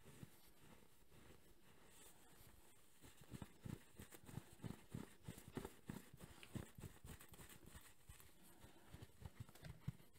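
A grey velour-covered, soft-filled travel neck pillow has one arm held between both hands and is rubbed and squeezed with the palms and fingers. A quiet, steady low fabric hush runs through the first few seconds, then turns into a run of soft, muffled, low thumps and brushing rustles that go on to the end.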